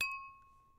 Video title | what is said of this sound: A- 432 Hz Tuning for Therapeutic Tuning Fork Treatment | a wine glass with its hollow shape is very resonant when you tap the glass and listen to the frequency you can hear its resonance or pitch